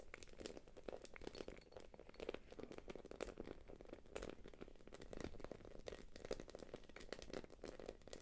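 Long nails tap and scratch the quilted face of a small light-blue glossy quilted plastic purse held up in the hands. A dense, steady stream of soft crinkly taps and scraping sounds with a low-mid body and bright clicky edges continues throughout, each tap dying away instantly.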